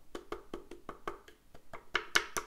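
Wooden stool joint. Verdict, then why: Loose. A wooden stool obtained in Taiwan is tapped in a quick series at different spots, giving short, dry, hollow wood-block knocks that get brighter and louder toward the end. It doesn't wobble when sat on, but in some spots the taps reveal small gaps in the joinery, where wood knocks against wood at a slightly loose joint.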